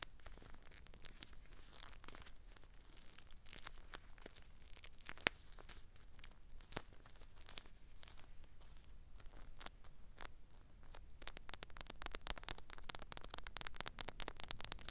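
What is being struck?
Plastic bead-filled gel eye mask.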